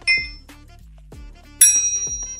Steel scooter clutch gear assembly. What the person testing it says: kita ketok ada bunyi nyaring gitu ting gitu berarti dia udah rapat semua ini udah padat Udah kenceng